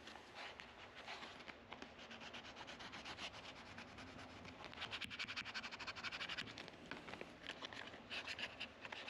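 A white sanding sponge is rubbed back and forth along the metal frets of a solid dark wooden guitar fretboard with dot inlays, its neck resting on a black support. The sound is a steady, bright, gritty sanding and scratching made of many quick strokes that overlap. It grows a little louder and denser midway through.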